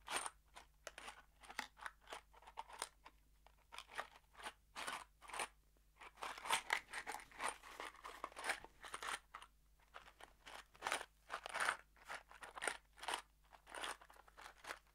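A small kraft cardboard box holding screws is tilted and shaken in both hands. The screws make dozens of short, dry, crunchy rattles that come in quick clusters with brief pauses between them. The sound is quiet, bright and papery, and each burst cuts off almost at once with no ring.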